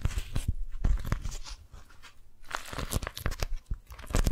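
Long nails grip and crinkle an orange-print beeswax-coated cotton food wrap that is scrunched into a ball. Dense crackling crunches and crinkles come in quick bursts with soft low thumps. The sound eases off in the middle before building back to loud, brittle crackles.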